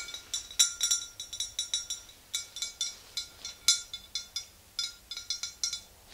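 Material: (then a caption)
Glass. Long green-painted nails of both hands tap the sides of a tall, clear glass swing-top bottle standing upright and mostly full of yellow liquid. It makes a quick, uneven series of bright, high glassy clinks. Each clink rings briefly at a steady high pitch and dies away fast, with almost no low end.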